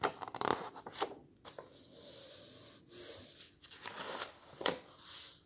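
Fingertips rub, smooth and turn the illustrated paper pages of a large open hardcover book lying on a table. Crisp, bright papery rustles and swishes alternate with soft, steady rubbing hiss and a few sharp crackles as pages lift and fall.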